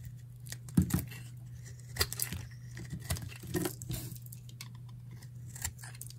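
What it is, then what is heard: Dry bar of soap being sliced. A metal utility knife slices a solid, dry beige bar of soap held in the hand, peeling off thick curled shavings. Each stroke gives a crisp, dry scraping crunch with bright, papery edges, separated by short pauses over a steady low hum.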